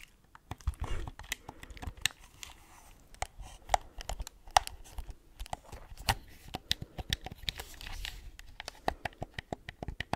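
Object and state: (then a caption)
Plastic game controller. A hollow white plastic gamepad with pink buttons and a touchpad is tapped and scratched with long nails, including clicking over the buttons close to the mic. Rapid, sharp, dry clicks and taps come in quick bursts over a soft scratchy rustle, each one ending almost instantly.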